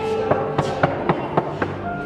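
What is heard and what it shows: Taps on a hollow stone palace wall in a winter room of Jahangir Mahal at Agra Fort, built hollow so hot water from a roof tank could fill it. Six clear knocks ring out over a steady background hum, each a hollow, resonant thud with a short ring.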